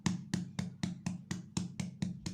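A freshly baked loaf of white bread is tapped 10 times in a steady rhythm to check doneness. Each tap gives a short, hollow, drum-like thump centered around 180 Hz that dies away quickly, which shows the bread is baked through and ready.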